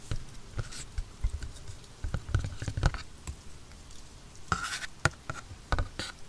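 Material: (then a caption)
Cardboard. A wooden pencil tip scratches and taps across the printed top of a small, hollow black cardboard headphone retail box, lid on and held steady by hand. Quick, irregular dry taps and scratchy strokes give a low, hollow thump that dies away almost instantly.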